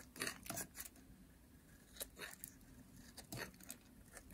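A metal blade shaves an orange, solid, dry bar of soap, peeling off long curls. Quiet, dry, crisp scraping strokes come in uneven bursts, each a short rasp of bright, hissy texture with little low end, separated by near-silent pauses.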